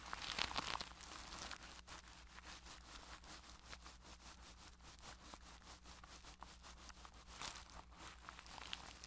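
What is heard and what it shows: A makeup brush is rubbed side to side over clear plastic cling wrap covering a microphone head. It makes a steady, bright crinkling and crackling that rises into louder bursts near the start and again toward the end. A faint low hum runs underneath throughout.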